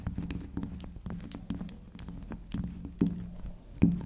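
Long acrylic nails tap and scratch the spiral top of a small, round, solid pink soft soap, close up. Soft, dull taps and light scratching patter along with a low hum, with two louder taps near the end.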